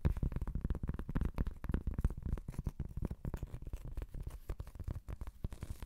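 A large, thin, solid round cork trivet board is held up and scratched with long pointed acrylic nails. It makes a dense run of quick, dry scratches that sound dull and low-heavy, with each stroke dying away almost instantly.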